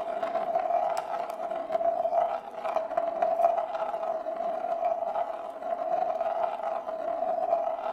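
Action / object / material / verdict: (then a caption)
scrape / shallow bamboo plate with a glass marble rolling inside / bamboo / none. A single glass marble rolls round and scrapes along the inside of a large, shallow, hollow bamboo plate with spiral grain, held empty and level in both hands. It makes a steady, continuous rolling rumble centred around 680 Hz with a hollow tone, swelling and dipping slightly as it circles, with faint bright ticks throughout.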